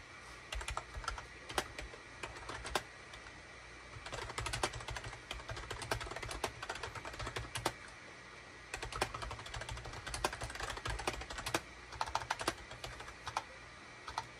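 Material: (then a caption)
Plastic. A gray full-size SHIPADOO K600 wired USB keyboard with a hollow plastic body and cream, gray and orange plastic keycaps sits on a desk mat and is typed on rapidly with the fingertips of both hands. Dense bursts of short, crisp plastic clacks are broken by brief pauses near the 3-second and 8-second marks, over a faint steady low hum.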